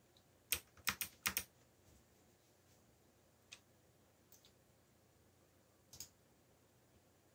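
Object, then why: Plastic mechanical computer keyboard. Fingertips type on a backlit mechanical computer keyboard with black plastic keycaps. A quick burst of sharp, bright plastic clicks comes first, then scattered single key taps follow with quiet pauses between them. Each click stops dead with no ring.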